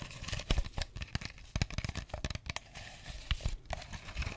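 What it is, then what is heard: Plastic water bottle. A clear plastic drink bottle with a red cap and label, mostly empty, is held in the hand close to the mic while fingers squeeze, crinkle and tap it. Dense, dry crackling and crunching runs throughout, punctuated by sharp taps with deep, short thumps.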